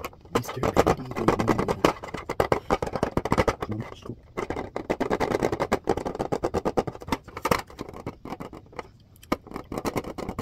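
Fingertips rapidly tap and scratch the back and edges of a plastic clipboard with a white back and a red front. The sound is a dense run of short, dry, hollow taps mixed with scratchy rustling, centered in the low mids with little bright content. A few brief pauses break up the steady patter.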